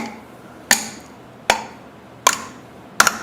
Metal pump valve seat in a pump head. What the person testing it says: you can hear it in the sound it isn't going anywhere